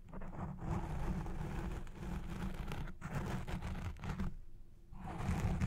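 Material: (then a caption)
Foam. Long red nails scratch the side and base of a black foam windscreen on a Blue Yeti Pro microphone. The result is a dense, muffled scratching and rustling, heavy in low rumble with little high content. It continues almost without a break, dipping briefly near the middle and going quiet for about half a second before resuming louder at the end.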